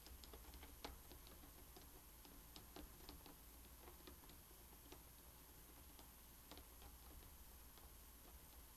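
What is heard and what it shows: Fingertips and medium-length painted nails tap and scratch across a fully assembled thin wooden jigsaw puzzle, flat and solid, lying on a bamboo mat. Quiet, dry clicks and light scratches come in an irregular, typing-like patter over a steady low hum.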